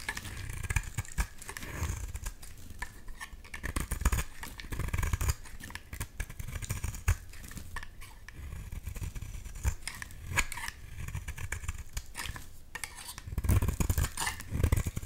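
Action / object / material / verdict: scrape / bar of soap / soap / none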